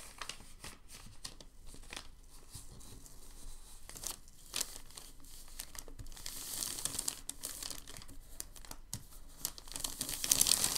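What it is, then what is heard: Thin packing paper sheet. A hand lifts and folds a thin white packing paper sheet, then fingertips press it flat. Soft, bright crinkling and rubbing keep up in quick, uneven bursts, growing a little louder and more hissy toward the end.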